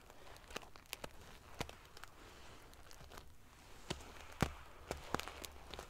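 Long nails scratch and ruffle a large padded pillow covered in rows of silver metal sequin pieces. Irregular sharp, bright clicks and scrapes stand out over a soft, low rustling bed. Each click dies away almost instantly.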